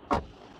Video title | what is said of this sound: Nouvelle Revue de la Skoda Superb | ça sonne vraiment, vraiment de bonne qualité. Ils ont mis beaucoup de joints en caoutchouc tout autour ici pour améliorer le son.